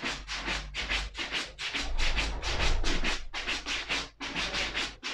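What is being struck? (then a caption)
Suede leather ankle boot brushed with a bristle brush. A black suede leather ankle boot held in the hand is brushed near the heel and upper with a wooden bristle brush. Quick, repeated strokes make a dry, bright scratching and rubbing sound over a steady low hum. The strokes run in an uneven rhythm, with short pauses between bursts.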